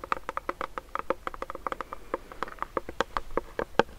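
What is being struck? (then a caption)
Plastic pump bottle of hand sanitizer gel. A medium clear plastic hand sanitizer pump bottle filled with clear gel is held close to the mic and tapped and scratched with fingernails. A rapid, uneven series of short, dry plastic clicks and taps is heard, each with a hollow tonal knock around 500 Hz and 1.2 kHz that dies away almost at once, with faint scratching between them.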